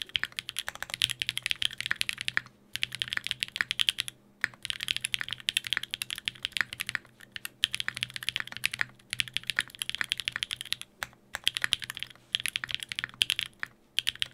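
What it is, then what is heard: Mechanical keyboard with plastic keycaps on an aluminium plate. Fingertips type rapidly on a Sangeo 60, a 60% mechanical keyboard in a white case with blue and grey GMK ABS plastic keycaps, an aluminium plate and Durock POM switches. Dense bursts of crisp, bright clacks centred around 3 kHz come in runs separated by brief pauses, each keystroke dying away almost instantly.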